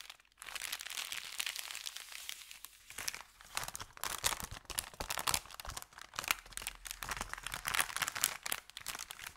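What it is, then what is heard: Paper bakery bag. An empty, thin brown kraft paper bakery bag is pressed flat with both hands, then lifted and flexed at the edge, crinkling it. After a brief quiet start, a dense, continuous stream of bright, dry crackles and crunches follows with almost no low end, swelling and easing as the paper is worked.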